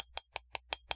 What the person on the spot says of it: regardez, je cogne dessus, là. Non, c'est fait en plastique, ça.